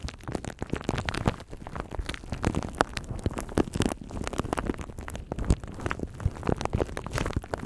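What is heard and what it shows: A thin clear plastic bag wrapped around a microphone is scratched and crinkled by fingertips and nails. The result is a continuous, dense run of close, crackling rustles and sharp little snaps, heavy in the low end with a muffled, rumbly body.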